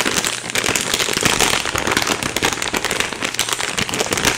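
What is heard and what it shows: A flexible plastic Temptations cat treat bag, filled with dry treats, is held in both hands and shaken and squeezed. A dense, bright crinkle of plastic mixes with the rapid rattle of treats inside. It stays continuous and fairly steady throughout, with little low end.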